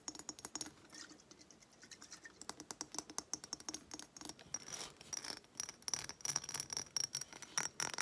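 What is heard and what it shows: Long nails rapidly tap and scratch the bumpy glass of a small hobnail-textured glass reed diffuser bottle with wooden reeds and some liquid inside, held in the hands. Dense bursts of sharp, bright clicks and scratchy rasps are heard, with a faint high glassy ring and almost no low end.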